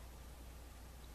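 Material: Nothing is struck.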